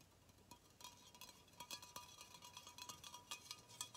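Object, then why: Aluminum aerosol spray can. An aluminum Arm & Hammer shoe freshener aerosol can, a hollow metal can about 15 cm tall, is held in both hands and tapped and scratched with fingertips and nails. Quiet, bright, tinny clicks come in an irregular, rapid series, each with a very short metallic ring. Soft scratchy hiss fills the gaps between taps.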